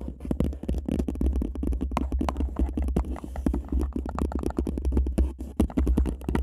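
Two people scratch and tap the sides of a single empty paper cup placed upside down over a microphone, using long manicured nails. A fast, dense stream of crackly scratches and sharp taps rides on a deep, boomy low rumble that dominates the sound.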